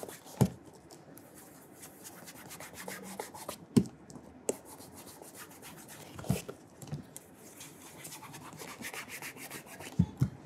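A burgundy leather cap-toe oxford with a wooden shoe tree inside, hollow upper and rubber studded sole, is held and rubbed with cloth-wrapped fingertips to work in polish. Soft, uneven rubbing and brushing noise runs throughout, broken by several sharp low knocks near the start, in the middle and at the end.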